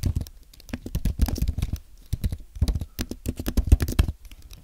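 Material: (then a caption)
Aluminium, plastic. Fingertips type on a compact white aluminium and plastic Apple keyboard, producing a steady run of soft, quick, low-heavy key taps with brief gaps between bursts. Each press is a short, dull click that dies away almost instantly.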